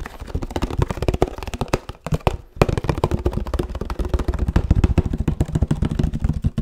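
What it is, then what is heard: Oat milk carton tapped. Fingertips tap rapidly on the cap, sides and bottom of a 1 L oat milk carton made of laminated paperboard. Dozens of short, dry, low, hollow thuds come in an uneven stream with almost no ring. The tapping pauses briefly partway through, then resumes.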